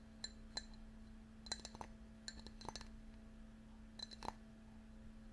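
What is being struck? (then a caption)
Ceramic mug. A ceramic mug with lots of little raised dots around the outside is tapped and scratched, giving light, bright clinks and short textured scraping sounds with very little ring. A steady low hum runs underneath.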